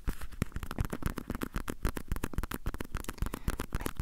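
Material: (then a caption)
Fabric. Fingertips and nails scratch and tap the printed surface of a small, hollow gamaguchi-style coin purse with a cat pattern on fabric or vinyl and a metal clasp frame, held close to the recorder. The result is a dense, irregular run of quick scratchy taps with short, dry, low thumps and no ringing.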